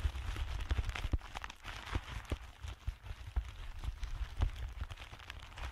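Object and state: Clear plastic bubble packaging being crinkled.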